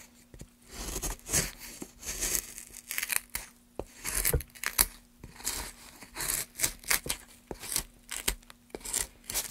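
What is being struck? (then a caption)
Softwood block. A gloved hand drives a gouge along the grooves of a solid, pale softwood block, curling up wood shavings. Repeated bright, dry scraping strokes rasp and crackle with short sharp clicks in between, over a faint steady low hum.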